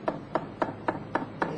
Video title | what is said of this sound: Epoksidna ljepila za građevinu Megapoxy | We can hear the sound. It's drumming.